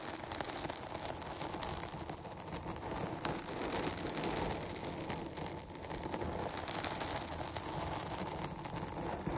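Long fingernails on both hands scratch the sides of a dark foam microphone windscreen. The result is a steady, dense scratching and rustling that stays close and broadband, with slight swells in loudness and no clear pauses.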